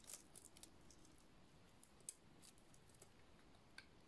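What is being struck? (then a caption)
Bar of soap. A utility-knife blade shaves a solid, dry, painted purple soap bar, curling off purple shavings. Quiet, short, crisp scraping and cutting clicks with bright edges come at irregular intervals over a low, steady background hum.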